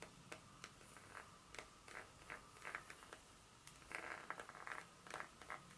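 Long nails scratch and tap across the segmented surface of a solid dark chocolate bar held in a hand. The result is a quiet series of short, bright, dry clicks and scrapes with little low end, over a faint steady background tone.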